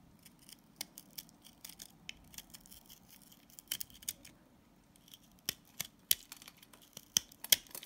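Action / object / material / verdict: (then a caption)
scrape / salt scrub soap bar shaved with a blade / salt soap / none. A box-cutter blade scrapes and shaves the bubble-shaped side of a green solid salt scrub soap bar. Quick, irregular bright scratches and crisp crackling clicks sound over a faint low hum, with sharper snaps toward the end.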